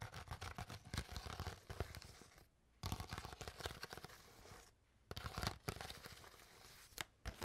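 An empty, crushed, hollow clear PET water bottle is crinkled and squeezed by fingertips and nails. This produces dense bursts of crackling, crunching plastic with sharp snaps, broken by two brief quiet pauses before the crinkling resumes.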